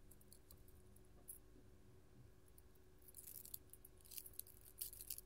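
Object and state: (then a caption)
Metal finger jewelry clinking. A gold-tone metal hand chain with filigree claw nail caps, worn on one hand, clinks as the fingers move and shake so the metal caps and chains knock together. Faint, sparse tinkles in the first three seconds give way to busier, bright jangling over a steady low hum.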